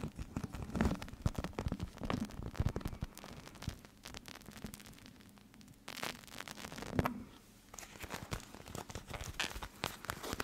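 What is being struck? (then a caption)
Plastic eye mask filled with gel beads. A clear plastic gel eye mask filled with teal beads is folded, squeezed and crinkled between fingers and long nails close to the mic. It makes a quiet, continuous run of dense crinkling and crackling with short, sharp clicks, and brief louder bursts of plastic crumpling stand out now and then. The sound carries a soft low rumble underneath, with only a little high, bright hiss.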